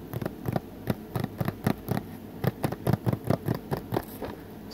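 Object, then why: Plastic Blu-ray case. Fingertips tap on the front cover and along the edges of a blue plastic Blu-ray case held in both hands. Eighteen short, dull, hollow taps come in an uneven rhythm, mostly low in tone with faint high clicks, each dying away almost at once.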